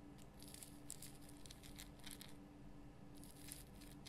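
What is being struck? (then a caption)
Rock salt lamp. Long fingernails scratch the rough crystal sides of a large pink Himalayan rock salt lamp. Quiet, dry scratching bursts with a bright, hissy crackle come and go over a steady low hum.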